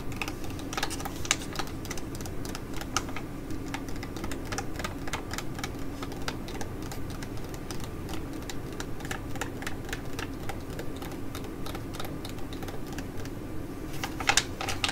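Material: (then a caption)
Foil. Long nails tap and scratch across the flat, glossy foil-and-plastic sachet of an ID.AZ Derm Gold-Fit Mask with a gold border. Quick, irregular clicks and crinkly scratches run over a steady low hum, with a cluster of brighter, louder taps near the end.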